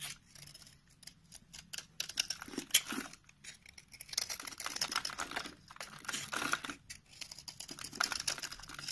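A utility knife blade cuts slices from and scrapes the surface of a solid orange rectangular soap bar held in the hand. The result is a quiet run of dry, crisp, bright scraping and shaving strokes with short crumbly crackles, pausing briefly between cuts.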